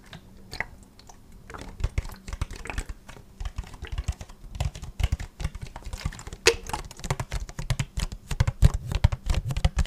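Fingertips tap rapidly along the crinkly sides of an empty, hollow, clear plastic water bottle. The taps are soft, short, dull thuds with a faint crackle, coming in quick irregular bursts that grow slightly louder toward the end.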